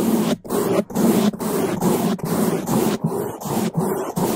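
Two bamboo toothbrushes held in black-gloved hands brush fast across a large black foam microphone windscreen. Their bristles scrub and rub loudly and steadily on the foam in a dense, rushing scratch, with the strokes separated by brief drop-outs.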